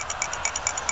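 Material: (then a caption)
Metal. A reassembled 75cc/98cc Suffolk Punch/Colt small-engine carburetor is shaken, making eight quick, bright metallic rattles of the float inside the metal carburetor body. The rattle shows the float is moving up and down freely, meaning it is installed properly.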